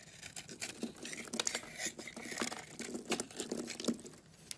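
A utility knife blade scrapes a solid cream oval bar of soap held in the palm, peeling off shavings. Soft, dry, crinkly scraping comes in a quick series of short bursts, bright and hissy with little low end. The sound is quiet and each scrape stops almost at once.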